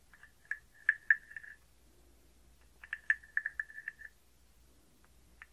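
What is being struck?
Carved wooden frog guiro.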